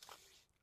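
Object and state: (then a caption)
Metal scooter mudguard. A single tap on the front mudguard of a new TVS Jupiter 125 scooter gives a quick, bright metallic tick centered around 1.2 kHz that fades within about a quarter second. The sound marks the mudguard as metal rather than plastic or fibre.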